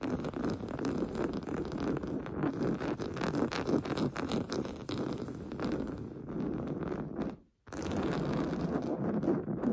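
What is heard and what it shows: Short painted fingernails scratch rapidly at the top of a large, soft, stuffed beige woven-fabric sofa cushion. The result is a dense, continuous, muffled rustling scrape centered in the low mids, with little bright content. It drops to a brief silence just after the seven-second mark, then resumes at the same steady level.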